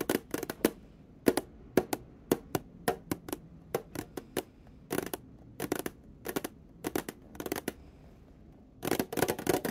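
Long painted nails tap and scratch along the edge and side of a small, closed, rectangular printed metal tin of dominoes held on its side in the hands. Sharp, bright clicks come in quick bursts and pairs, each dying away almost instantly, and end in a denser cluster of rapid tapping.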